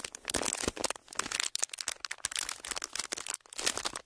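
A thin clear plastic sheet, folded into a narrow strip, is crinkled and pressed with the fingertips of both hands in front of two microphones. It makes dense, bright crackling in irregular bursts with almost no low end, and each sharp crinkle dies away instantly.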